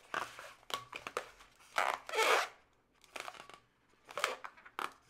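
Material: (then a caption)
Latex. Long nails tap and scratch the taut surface of a yellow twisted latex modelling balloon with two inflated hollow segments. Quick, crisp clicks and squeaky scratches come in short clusters, with two longer, louder rubbing swishes in the middle and quiet pauses between bursts. The sound is dry and bright with almost no low end, and each contact dies away almost at once.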